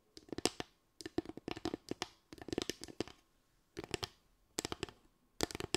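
A small slatted bamboo stand is lifted and tilted while being tapped and scratched with long acrylic nails. Quick bursts of dry, clicky taps with almost no ring alternate with brief pauses, carrying a hollow mid tone and bright scratchy edges.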